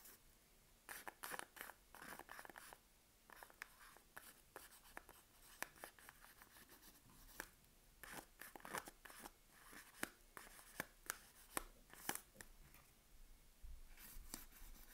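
Long nails scratch and tap across the printed paper wrapper of a sealed Palmolive soap bar held in hand. Quiet, dry rasping scrapes alternate with many sharp, bright clicking taps against the solid bar, each dying away almost instantly.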